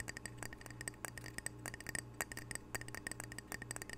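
A small, square, glazed ceramic "Camano Island" tile coaster, solid and held close to the microphone, is tapped rapidly with fingernails. About two dozen quick, dry clicks ring around 1.9 kHz with bright high overtones, each fading almost instantly over a steady low hum.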